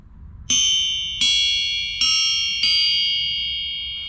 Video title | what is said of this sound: When Is A Cracked Crankshaft Not Really A Cracked Crankshaft? | it rings like a bell it's beautiful it's perfect so how could this thing have major cracks